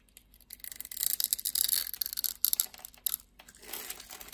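A utility-knife blade scores a grid into a solid red bar of soap held in the palm of a hand with long red nails, then scrapes off small cubes. The cutting gives quiet, bright, crisp scratching and crackling bursts with almost no low end, trailing into a softer scrape at the end.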